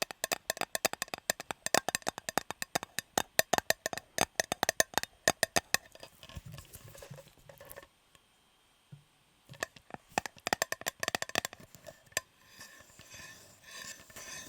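Fingers tap rapidly on a shiny, unopened Fortnum & Mason metal fruit cake tin with the cake still inside, and sticky tape on the rim adds to the sound. The taps are short, dry and bright with a mid-pitched knock and almost no ring. They come in quick runs, pause briefly, then resume with softer scratchy rubbing between them.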